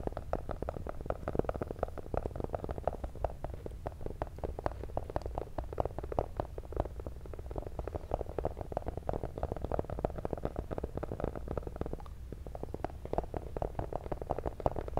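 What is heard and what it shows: Pink-painted fingernails tap rapidly on a small, hollow, black printed cardboard cable box held in both hands. The taps make a steady stream of soft, dry clicks over a low, hollow thump. The sound stays mostly in the low and middle range, with a brief lighter stretch near the twelve-second mark.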